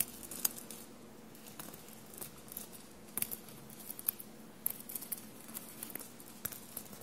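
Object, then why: Knit fabric shirt with small metal paillettes. Long blue-painted nails tap and scratch across a dark navy knit fabric shirt covered in small silver metallic paillettes/studs, lying soft and bunched on a table. About a dozen quiet, sharp, bright metallic clicks and ticks are scattered over a faint, steady low hum, with light scratchy rustling between them.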